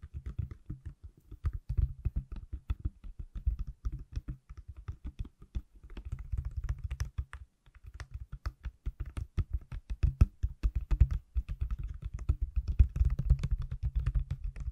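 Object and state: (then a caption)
Empty plastic phone case. A small, thin, pale plastic iPhone case with no phone inside is held above the mic and tapped with fingertips and nails. Rapid, dense bursts of short, dull, low-heavy taps with almost no ring run throughout, broken by brief pauses.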